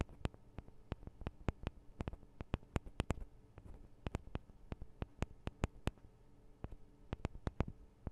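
Long acrylic nails on both hands tap the small hollow metal microphone capsules of a Tascam DR-40 recorder. A quiet, irregular series of sharp, crisp clicks follows, each dying away almost instantly, with a soft low thud under every tap.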